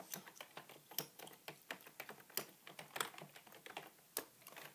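Both hands type with their fingertips on a beige full-size plastic keyboard with a hollow body, producing a steady run of quick key taps. Each tap is a short, dry, bright plastic click with almost no low end, fading almost instantly. The sound is quiet overall, with a few sharper, louder strikes standing out.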